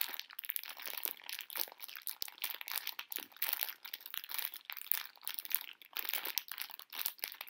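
A full pink plastic-film candy bag of conversation hearts is held up and crinkled with fingers and long nails. The result is a steady, quiet stream of sharp, bright crinkles and crackles with no low-end body, each snap dying away almost instantly.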